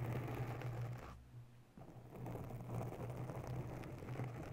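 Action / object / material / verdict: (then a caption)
scrape / foam microphone windscreen / foam / none. Long natural nails slowly scratch the sides and top of a grey oval foam windscreen on a microphone in a white holder. The result is a dense, low, muffled scratching rustle that dips quieter for about half a second before picking back up and continuing steadily.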